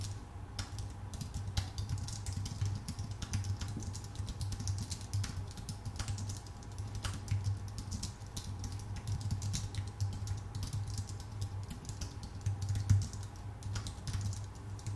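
Steady two-handed fingertip typing on a full-size white Apple Magic Keyboard with plastic keycaps on a thin aluminum body. The many quick, light key clicks run together over a constant low hum near 100 Hz.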